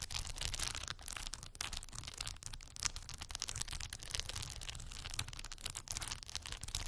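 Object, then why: Plastic faux pearl beads on a cork board, tapped with acrylic nails. Long white acrylic nail tips rest on and tap a small cork board covered in solid faux pearl plastic beads. The result is a dense, rapid stream of bright, dry clicks and crinkly taps that die away almost instantly, over a steady low rumble.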